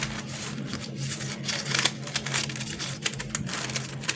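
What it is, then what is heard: Plastic fidget worm toy. A pink, palm-sized fidget worm made of flexible plastic mesh lattice, shaped as a hollow tube, is held in both hands and pressed and squeezed with the fingertips. It gives off a steady run of quick, bright clicks and ticks with sharper snaps here and there, over a faint low hum.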